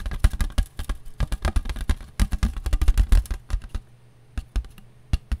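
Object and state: Paper plate.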